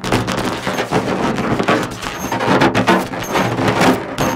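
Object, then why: Inflated latex balloon. Long acrylic nails tap and scratch a large, hollow, inflated orange latex balloon. The result is a dense, continuous run of soft rubbery thumps layered with bright, scratchy rasping, each hit ringing only briefly.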